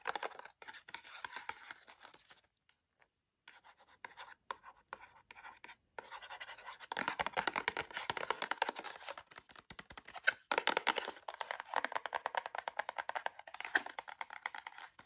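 Fingernails tap and scratch a small, tall, kraft-colored "Wonder Balm" cardboard box held in one hand. The result is dense, rapid, dry scratching and clicking, bright and papery with no low end, broken by a few brief pauses early on before growing busier and louder.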